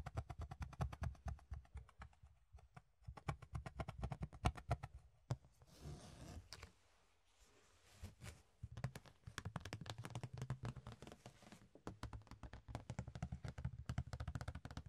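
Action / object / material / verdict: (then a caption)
tap / thin ribbed plastic box lid / plastic / none. A large, thin, ribbed rectangular clear plastic box lid is held and tapped with the fingertips along its surface and rim. Rapid, irregular runs of soft, hollow taps with deep, short thuds are heard, each dying away almost instantly. Around the middle the tapping gives way to a brief stretch of quieter rustling.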